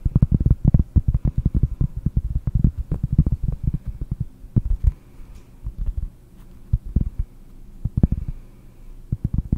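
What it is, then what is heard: Cork board. A round, solid cork board held in both hands is tapped with fingernails close to the microphone. It produces dull, low, thudding taps with almost no ring, in a fast, dense flurry for the first five seconds. The taps then thin out into scattered clusters separated by quiet stretches with a faint low hum.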